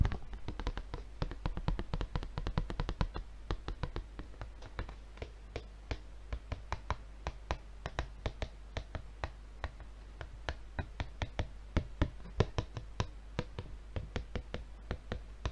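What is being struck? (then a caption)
Paper refill pad in plastic film. A large, solid, flat paper refill pad sealed in glossy red plastic film is held in both hands and tapped with the fingertips on its front face. A long run of short, dry taps comes quickly at first, then at a steadier, looser pace, each one dying away almost at once. A steady low hum sits underneath.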